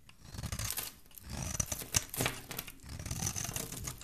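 A solid cream-white embossed soap bar with a pink core is held in hand and sliced and scraped with a metal utility blade. Dry, crisp scraping and cutting strokes come in uneven bursts with bright hiss and a soft low body, each cut stopping short with no ring.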